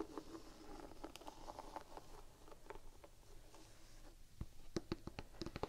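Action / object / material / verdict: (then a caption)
tap / rubber sneaker outsole / rubber / none. Long painted nails scratch and tap a solid, gum-brown textured rubber sneaker outsole held horizontally. Soft, grainy scratching rustles along the grip pattern for about four seconds, followed by a run of crisp, dry nail taps that click sharply and die away almost instantly. The whole clip stays quiet and close.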